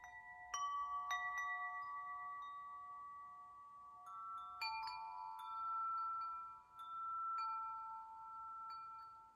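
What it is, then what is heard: Metal tube wind chime. Fingers gently knock the tubes of a hanging hollow metal tube wind chime, letting them sway and chime. Clear, bright metallic tones ring out in overlapping strikes, with the main pitch around 1.1 kHz. Each note sustains and slowly fades into a shimmering wash.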